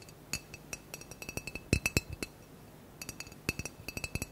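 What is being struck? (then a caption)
Glass bottle. Fingernails tap quickly on a blue-green glass bottle with a cork stopper, held in the hand and partly filled with decoration inside. The sharp, dry clicks come in irregular rapid bursts, each with a faint glassy ring, and there is a short pause in the middle.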